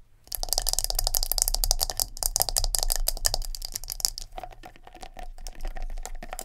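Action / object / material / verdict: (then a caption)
tap / plastic scalp massager brush with silicone bristles / plastic / none. Long nails rapidly tap and scratch the hard plastic top and soft silicone bristles of a palm-sized round black plastic scalp massager with a knob handle. The result is a dense, irregular stream of sharp, bright clicks and scratchy rattles over a low steady hum, thinning out toward the end.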